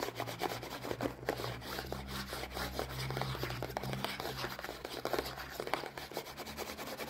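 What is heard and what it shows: Long painted nails and fingertips rub and scratch a small printed cardboard Kinder Joy box, hollow and still holding its eggs, held close. A steady, papery scratching runs throughout, broken by quick dry ticks and brighter nail clicks over a faint low hum.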